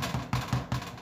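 A homemade bread loaf is tapped five times after three extra minutes of baking, giving short, dull, hollow knocks with a low resonance around 125 Hz. It now sounds right, and the loaf is judged well baked.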